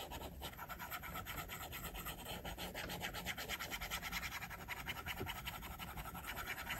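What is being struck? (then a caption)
Plastic stylus on glass tablet screen. A plastic stylus tip makes rapid, short scratching strokes across the flat, solid glass screen of an iPad held at its edge by the left hand. The result is a steady, dense run of bright, gritty scratches that rise and fall rhythmically over a faint low rumble.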